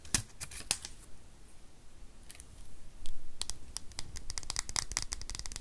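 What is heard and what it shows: A small, solid white plastic USB power adapter is held in both hands while long nails scratch and tap it. The result is a run of sharp, bright clicks and ticks that cluster densely in the second half over soft scratching and a low rumble.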